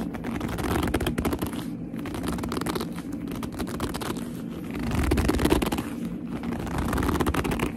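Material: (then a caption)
Leather. A medium black leather handbag with a strap and a soft hollow body is gripped and tapped by long almond-shaped nails and fingertips. Rapid, irregular squeaky grips, soft taps and scratchy rubs blend into a dense, muffled, low-heavy texture that swells slightly louder toward the end.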